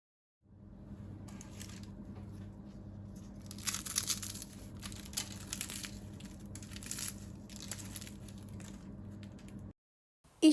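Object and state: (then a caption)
Crisp baked phyllo pastry. A crispy baked spinach börek made of phyllo pastry is crunched and broken apart, giving a run of bright, dry crackling and crumbling bursts over a steady low hum. The crunch comes across as perfectly crisp, and a brief louder noise sounds at the very end.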